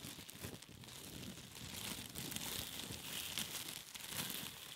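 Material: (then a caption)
Plastic. A piece of thin clear plastic cling film is crinkled and squeezed between the fingertips. A soft, steady crinkling and crackling runs throughout, mostly bright and hissy with faint low rustles underneath.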